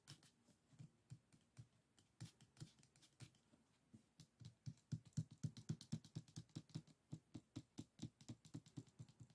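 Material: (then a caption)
Bamboo. Fingertips and nails scratch and tap the rib stack of a closed bamboo folding fan, standing on its edge on a wooden table, its ribs and paper folds visible. About fifty short, dry, low taps come in an uneven patter, around four per second, with faint bright scratchy ticks on top. The taps grow louder through the second half.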